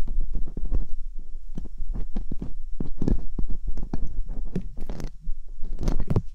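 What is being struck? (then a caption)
Silicone binaural microphone ear scraped by metal dental picks. Metal dental picks are scraped slowly inside the canals of silicone binaural microphone ears, using both hands. The sound is a close, muffled stream of low thumps and rubbing scrapes, dominated by deep rumble with only faint brighter flicks. A steady low hum sits underneath.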